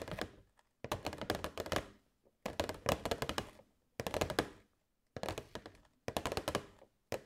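A hollow, transparent plastic box holding LED fairy lights is held in both hands and tapped with long white nails. Quick bursts of dry, clicky taps with a hollow plastic knock come in six short flurries separated by brief silences. Each tap dies away almost instantly.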